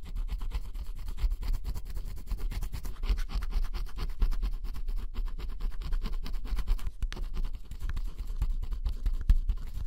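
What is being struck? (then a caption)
Cardboard jigsaw puzzle with scratch-off coating. A pointed wooden stick scratches the black scratch-off coating off a small area of a flat cardboard jigsaw puzzle, revealing blue underneath. Close, steady, rapid scratching strokes sound dry and rasping, with a dull low rumble beneath them throughout.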